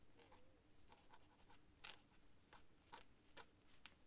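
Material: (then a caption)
Paper. The metal-nibbed tip of a white feather quill, held in the fingers, scratches across a thin cream paper sheet lying flat on a desk in slow writing strokes. Quiet, bright, dry scratches come in short irregular bursts, some sharper and louder than others, over a soft low background hiss.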